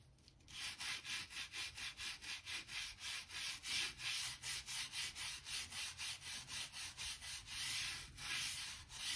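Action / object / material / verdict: scrape / oak floorboards with stiff brush / oak / none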